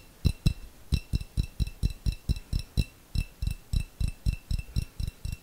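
A small, hollow, clear glass jar with a little contents at the bottom is tapped with long fingernails, about 21 taps in an uneven rhythm. Each tap gives a dull low thump with a short, bright click and a faint ring above it, dying away almost instantly.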